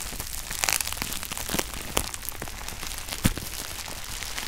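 Clear plastic bubble wrap crumpled on a red shoebox is pressed by fingers, giving a steady bright crinkling with scattered sharp pops, the loudest pops standing out near the middle and end.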